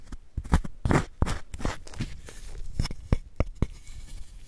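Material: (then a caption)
Chalk. A palm-sized square block of white magnesium carbonate gym chalk, held in a gloved hand over a bed of chalk powder, is scraped with a small wooden spoon that gouges out powder and hollows the block. A series of short, dry, crunchy scraping strokes are heard, each a brief gritty burst that stops quickly, with quieter crumbling between them.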